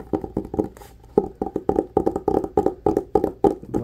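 Fingertips and short nails tap and scratch the textured cloth front cover of a solid red cloth-bound hardcover book with a gold quill emblem. A fast, uneven run of dull, woody taps centers low in the midrange around 420 Hz. Each tap dies almost instantly, and there is a brief brighter scratch near the start.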